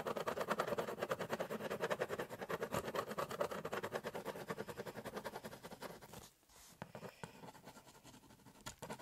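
A ballpoint pen held in the fingertips scratches shading strokes onto the top of a large, hollow corrugated cardboard shipping box, making a rapid, steady run of dry, papery scratches at about three strokes per second. The strokes briefly stop around six seconds in, then resume as quieter, more scattered scratches.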